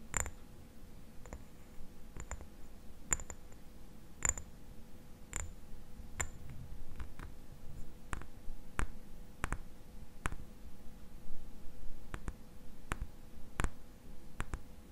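Long nails tap a small amber glass dropper bottle with a black dropper cap, held in the hand. The taps come as a steady, irregular series of short, sharp glassy clicks and ticks that die away almost instantly, over a low background hum.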